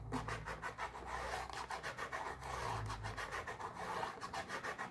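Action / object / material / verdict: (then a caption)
scrape / small cardboard box / cardboard / none. A small pink printed cardboard mochi box, held in one hand, is rubbed and scratched with long nails, making a steady run of dry, raspy scraping strokes. Near the end, the top flap of the box starts to lift open.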